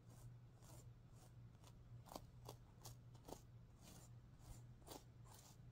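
Long painted nails scratch and flick the pink sequins on a stuffed sequin pillow, making a series of quiet, short, bright ticks and soft rustling scrapes. A steady low hum runs underneath the whole time.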